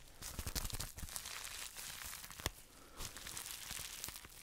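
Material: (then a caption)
Plastic. A small, hollow, empty pink plastic bubble wrap pouch is pressed, crinkled and scratched with fingertips and short nails close to the microphone. Dense, bright crackling and crinkling mixes with soft low thumps, broken by sharper snapping bursts. One strong pop stands out near the middle of the clip.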